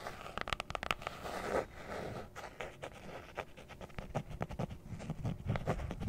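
A rectangular black hard-shell zippered carrying case, handheld-console size, with a molded fabric-covered EVA look, is held closed in both hands above the mic and tapped and scratched with long nails. Quick, dry taps on the hollow shell alternate with soft, rasping scratches across its fabric-textured surface. The sound stays close and fairly quiet, and each tap dies away almost instantly.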